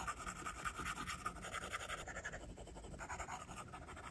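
A plastic stylus tip draws writing-like line strokes across the glass screen of an iPad. The result is a steady run of quiet, rapid scratchy taps and swishes with a whistly tone around 1.2 kHz and a faint high hiss. The strokes blur together and cannot be counted.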